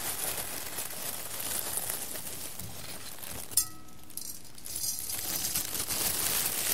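Fingertips press into and stir a pile of roasted coffee beans in a clear embossed glass bowl, making a steady, bright, crackling rattle as the beans shift against the glass. Partway through, a sharp clink stands out before the sound drops to a quieter lull. Then the dense rattling builds back up.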